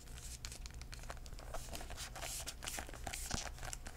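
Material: Cardboard.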